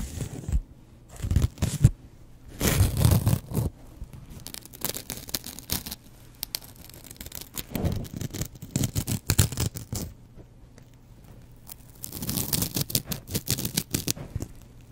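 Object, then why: Foam kitchen sponge with scouring pad. A double-edge razor blade scratches across the green scouring pad side of a foam kitchen sponge. Bursts of dry, bright, rasping scratches come in irregular strokes with quieter pauses between them, over a faint low hum.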